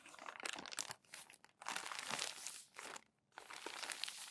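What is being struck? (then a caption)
Glossy paper magazine pages. Fingertips and palms rub crumpled glossy magazine pages flat and flip them. Bright, dry crackling and crinkling comes in dense bursts, broken by brief quiet gaps near 1, 1.5 and 3.2 seconds. There is little low end and almost no ring after each crinkle.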